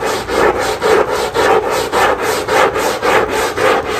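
A long-handled black scrub brush scrubs back and forth across the non-slip, rubber-dotted backing of a small flat textile area rug lying face down on a tile floor, soaked and covered in soap foam. It makes a steady, rhythmic rasping swish that swells with each stroke, centered in the midrange around 500 Hz with little low end.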